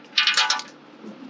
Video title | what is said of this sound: Suburban won't take fuel? Here's the fix!! | I can hear all that carbon stuff all up in here